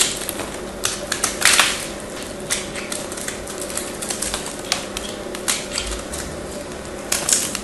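A craft knife carves into a small, hand-held chunk of solid white bar soap and scrapes off flakes. The result is a run of crisp, bright, dry scraping and cutting clicks at an uneven pace over a faint steady hum. Each stroke dies away almost at once.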